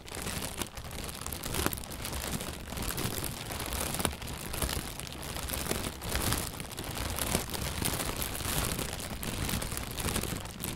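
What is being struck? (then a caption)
Inflated plastic bag. An inflated, hollow white plastic bag, held from below, is squeezed and rustled with the hands. Its continuous crinkling rustle spreads from a low rumble up to bright hiss, broken by occasional sharper crackles, and stays at a steady, moderate level throughout.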